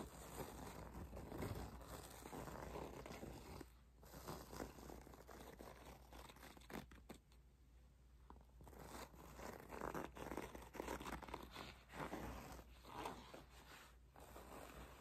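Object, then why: Faux leather cosmetic pouch. Long nails scratch and tap across the front panel of a flat, apparently empty white faux leather cosmetic pouch with an embossed logo. Soft, dry scratching and crinkly scraping come in bursts over a steady low hum, with a few quieter pauses between passes.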